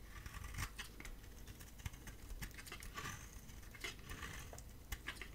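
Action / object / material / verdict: scrape / bar of soap shaved with a blade / soap / none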